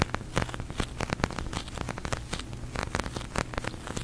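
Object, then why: Polyurethane foam squishy toy. Fingertips and long nails tap and press the surface of a large, soft, pink glossy sticky polyurethane foam squishy toy. Rapid, dense sticky crackles and peeling snaps with bright tops ride over a steady low hum, producing a continuous crackling patter.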